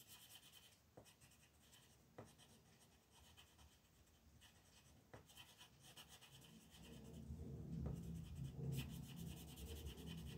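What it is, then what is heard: Colored pencil shading on a paper coloring page. A purple colored pencil, held by a hand with long red nails, rubs shading strokes over the bats on a thin paper coloring book page lying flat on a wooden table. Soft, steady scratchy strokes are broken by a few brief ticks, and the rubbing grows louder and fuller in the second half.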